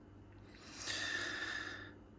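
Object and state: Nothing is struck.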